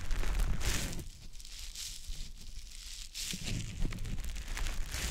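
A small, soft, damp green teardrop-shaped konjac sponge puff is held in the fingers and rubbed over the silicone ear of a dummy-head microphone. It makes close, wet squishing and crinkly rustling with a heavy low rumble, easing to a quieter, softer rub in the middle before growing louder and brighter again toward the end.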